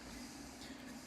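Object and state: Nothing is struck.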